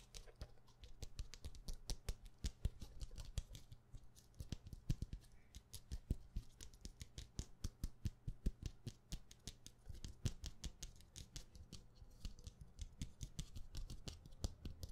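Long painted nails tap rapidly on the cover of a dark hardcover notebook with a solid stack of pages, held upright. The result is a fast, continuous stream of short, dry clicking taps with a dull low thump beneath them, each tap dying away almost instantly.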